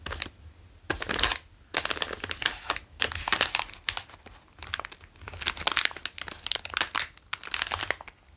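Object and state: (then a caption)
Plastic snack wrapper being crinkled. A flat plastic Wasa Sandwich Pizza wrapper with crispbread inside is held in both hands, tapped, traced with fingertips and crinkled. Bright, crackly crinkling comes in bursts, with quick dry taps and soft scratchy tracing between them, each sound dying away almost instantly with no ring.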